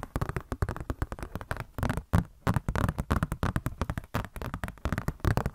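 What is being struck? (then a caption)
Glossy paper catalog booklet. Long nails tap and scratch a glossy paper Blizzard Shop catalog booklet in a fast, irregular run of short strikes. The hits are dull and low-heavy with little brightness, each dying almost at once, with brief soft scratchy passages between the clusters of taps.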